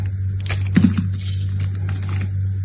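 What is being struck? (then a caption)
Bar soap cut with a small metal knife. A small metal knife with an orange handle shaves and cuts into a hand-sized, solid layered bar soap striped brown and cream, held in one hand, with the shavings dropping onto a pile of soap debris. Quick, dry scraping ticks and crackles, brightest in their upper range, come in a loose cluster over a steady low hum. Each scrape is short and dies away almost at once.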